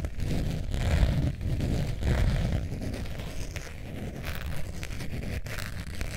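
Long painted nails scratch across the surface of a long beige zip-around wallet made of textured faux leather with a metal zipper, held hollow and upright above fur. The scratching is a continuous, deep, rumbling rasp, mostly low in tone, swelling louder around the first and second seconds before settling into a steadier, slightly quieter scrape.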